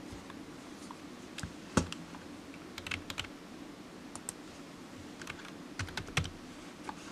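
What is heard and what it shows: Fingertips of one hand slowly tap the keys of a solid, black, low-profile plastic computer keyboard resting on a desk mat. There are 14 separate short, crisp clicks, some carrying a soft low thud, each dying away almost instantly. A quiet, steady low hum runs underneath.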